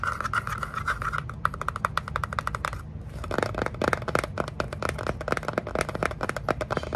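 Long nails tap and scratch the sides of a small, closed, hollow kraft cardboard box held in the hands. Dense runs of quick, dry taps with papery scratching swell around a bright, hollow resonance, pausing briefly near three seconds before resuming.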